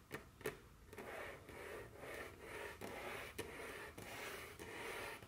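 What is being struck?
Wooden tabletop.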